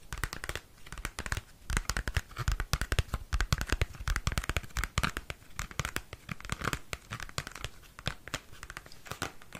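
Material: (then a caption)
Cardboard. Fingernails scratch and tap across the surface of a small, square cardboard CD album sleeve with a printed photo. The result is a dense, steady run of dry, crisp clicks and papery scratches, each with a soft low thump and almost no ring.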